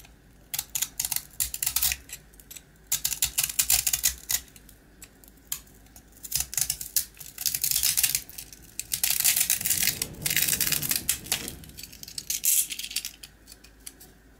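A small, round, dry rusk with a dark glossy coating, solid and crumbly, is held in the hand and scraped with the blade of a blue box cutter, shaving off coating and crumbs. Bursts of bright, dry rasping and crackling scratches come in quick clusters with short pauses between them, with almost no low end. The heaviest, longest scraping stretch falls near the middle.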